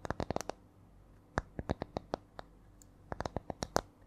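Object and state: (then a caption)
Wooden disc tapped with nails. Long nails tap and scratch a small, flat, solid round wooden disc or coaster with visible rings, held in one hand close to the mic. Quick, dry, hollow-sounding clicks come in three uneven bursts separated by short pauses, with the rhythm shifting between them. Each tap is crisp and dies away instantly with no ring.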